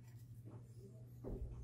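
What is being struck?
Nothing is struck.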